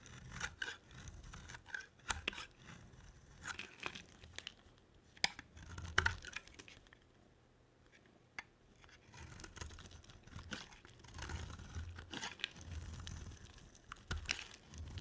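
A solid cream oval bar of dry soap, held in the hand, is shaved with a utility knife blade, giving crisp, scratchy scraping strokes with sharp bright clicks and low rustling. Midway the blade is briefly lifted off, leaving a quiet pause before the shaving resumes.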